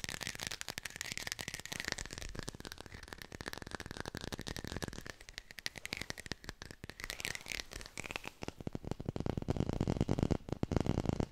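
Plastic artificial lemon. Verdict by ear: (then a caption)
Fake. A textured artificial plastic lemon is fast-tapped with the fingers and recorded with a hi-fi mic. Rapid, dry, crackling taps blur into a continuous rattling patter over a faint steady tone. The tapping grows louder and fuller toward the end.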